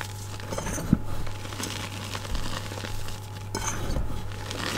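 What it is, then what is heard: Gym chalk powder being crushed. Palms and fingers press down into loose white gym chalk powder (magnesium carbonate) packed in a bowl, squeezing and crushing the clumps together. Soft, dry crunching and crinkling textures are heard over a steady low hum, with one sharper crunch near the start.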